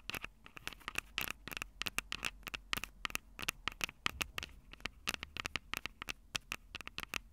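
Long purple acrylic nails tap and scratch the two small crossed metal mesh mic capsules on the hollow plastic body of a Tascam DR-05 handheld recorder. The result is a rapid, irregular run of sharp, bright clicks and scratchy rasps that stop dead with no ring, over a faint low rumble.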